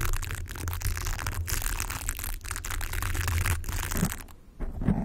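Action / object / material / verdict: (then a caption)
scrape / hollow plastic velcro hair roller / plastic / none. A yellow, hollow plastic velcro hair roller with a bristly surface, held against a microphone, is rubbed and scratched with fingertips and nails. This makes a steady, dense crackling scratch over a heavy low rumble, with a short quieter gap near the end before the scratching resumes.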